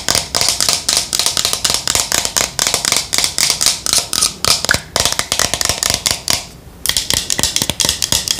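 Long nails rapidly tap and scratch the surface of a yellow matte plastic Boscia cosmetic bottle held in the hands, making quick, bright clicks and scratchy rustles. The taps come in irregular bursts and stop briefly near the end before starting again.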